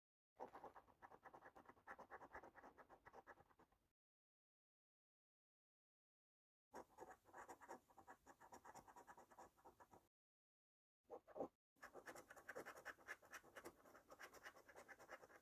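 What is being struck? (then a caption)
Paper scratch card with latex coating, scraped by a coin. The edge of a metal coin scrapes repeatedly across the silver latex scratch-off panel of a flat, thin cardboard £300,000 Cosmic Cash National Lottery scratch card, held down on a table with one hand. Rapid, dry, papery scratching strokes come in bursts separated by silent gaps, with a short sharp flurry near the end before the scratching resumes.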